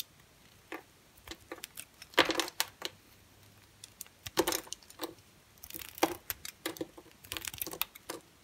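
A utility knife blade carves into a large, solid, square, pale green bar of dry soap with embossed lettering. Quiet, crisp scrapes and crackly snaps come in irregular bursts with bright, dry texture and almost no low end. Each cut stops quickly as dry, crisp chunks break away.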